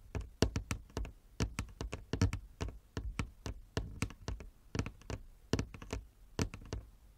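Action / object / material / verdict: tap / wooden chess board / wood / none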